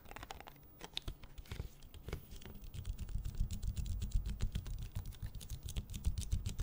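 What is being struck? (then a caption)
Small ridged plastic water bottle. A small, clear, ridged, hollow plastic water bottle with its cap on is tapped and scratched with nails and fingertips. The result is a rapid, irregular stream of short clicks and scrapes over a dull, low hollow thump. The tapping grows denser and louder in the second half.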